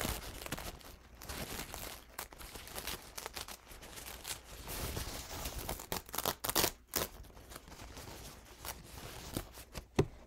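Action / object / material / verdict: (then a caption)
scrape / paper towel / paper / none. A crumpled, paint-stained paper towel is held close up while fingertips pull its folds apart and crinkle the thin paper. Soft, continuous crinkling and rustling with bright, papery texture is broken by a few sharper crackles, most noticeably around the middle and near the end.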